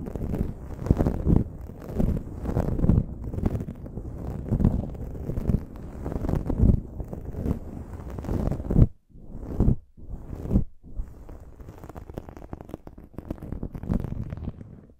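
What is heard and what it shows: Fingertips and nails rub and scratch the sides of a dark foam windscreen on a silver microphone. The result is a close, muffled, low-heavy scratching and rustling with soft thumps, briefly stopping around the middle before continuing more quietly.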